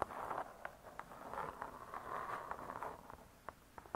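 Long nails tap quickly on the cardboard cover of a spiral-bound hardcover cookbook lying flat. Quiet, dry clicks centered in the midrange stand out over a soft, rustling scratch that swells and fades, and each tap dies away almost at once.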